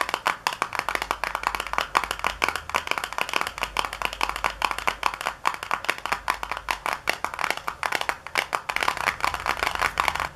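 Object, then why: Small cardboard box. Long nails tap rapidly on the flat side of a small, hollow, white printed cardboard product box with a barcode, lying on a countertop. The taps are quick, dry, papery clicks with a hollow knock, arriving in a dense, steady stream with almost no ring between strikes.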